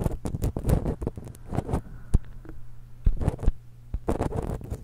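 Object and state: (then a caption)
Metal microphone capsule scratched with nails. Long acrylic nails scratch along the crossed metal capsule barrels of a small silver X/Y stereo microphone held in one hand. Bursts of dry, close scratching and tapping come in clusters over a steady low hum, with quiet gaps between them.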